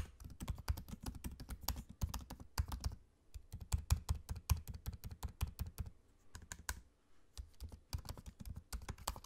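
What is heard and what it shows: Both hands type with their fingertips on a MacBook-style laptop keyboard, tapping low-profile plastic keycaps set in a space-grey aluminium body. The result is a steady stream of quick, soft, dull clicks that are mostly low thump with a little bright tick, broken by short pauses near 3 and 6 seconds.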